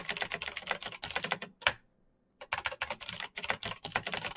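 Fingertips type fast on a black Razer BlackWidow mechanical keyboard with plastic keycaps on clicky green switches, giving rapid, bright, sharp clicks that die away almost at once. A single louder key strike comes just before a brief pause near the middle, then the quick typing picks up again.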